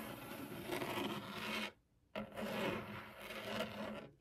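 Long acrylic nails scratch a flat, solid white laminated desk top while the fingertips rest on its surface. Two sustained bursts of dry, broadband rasping are separated by a brief pause, with a faint steady hum underneath.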